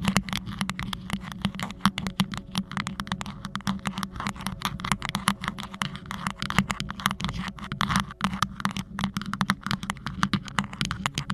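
Fingertips and nails of both hands continuously scratch and tap a hollow, green rhinestone-studded cylindrical cover fitted over a Blue Yeti microphone. Dense, rapid clicks and crisp scratches overlap throughout, with bright, short transients over a steady low hum near 190 Hz.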